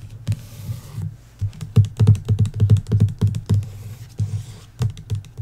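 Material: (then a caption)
Cardboard. Long acrylic nails and fingertips tap and scratch the front cover of the hardcover novel "Belladonna" in a glossy paper dust jacket, lying flat on a wooden table. Quick, uneven taps land as dull, low thumps with bright clicky edges, broken by soft scratchy hiss at the start and near the end. Each tap dies away almost at once with no ring.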